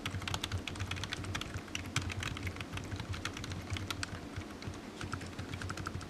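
Fingertips of one hand tap rapidly on the keys of a solid, black, low-profile plastic computer keyboard resting on a desk mat. The result is a dense, continuous stream of short, bright clicks over a steady low hum.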